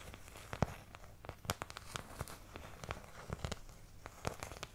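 Long nails scratch and tap across the wells of an empty, medium oval white plastic paint palette, thin and hollow-backed, held close to the mic. A steady bed of dry, crinkly scratching is punctuated by sharp, bright clicks with a hollow low thump, each dying away almost instantly.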